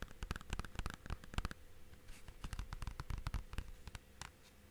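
Fingertips and nails tap and scratch the surface and spine of a clear, hollow plastic DVD/game case, held first at an angle and then flat. Quick, dry clicks with a hollow low thump and bright edges come in rapid clusters, broken by a softer scratchy stretch in the middle. Each tap dies away almost instantly.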